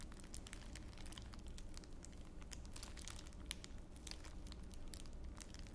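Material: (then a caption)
Plastic. A small wad of clear plastic wrapper is rubbed and crushed between both palms held beside the ear. It makes a steady stream of dense, bright crinkles and sharp crackles over a soft, constant low rumble, with no single sound standing out from the texture.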